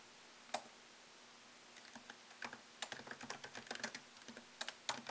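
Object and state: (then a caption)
Laptop keyboard typing. Fingertips type on a MacBook Pro laptop keyboard with plastic keycaps in an aluminium body, plugged in with a white cable. One sharp, bright click is followed by a pause, then a quick, uneven run of about twenty crisp, short key taps with a faint low hum underneath.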